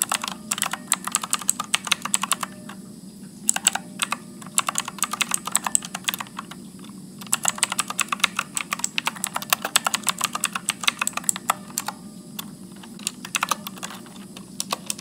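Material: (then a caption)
Plastic. Fingertips type continuously on a backlit Motospeed mechanical keyboard with blue switches and plastic keycaps as text appears on a screen. Bursts of sharp, bright clicks come in quick runs, broken by brief pauses near 3, 7 and 12 seconds, over a steady low hum.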